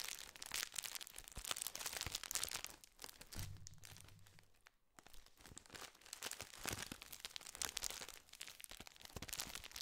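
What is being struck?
Metallized plastic biscuit wrapper.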